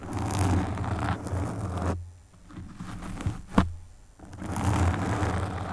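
Long pink nails on both hands quickly scratch the black foam windscreen of a desktop microphone, making a dense, low, rumbling scrape. The scratching stops for about two seconds, broken by a single sharp tap, and then resumes.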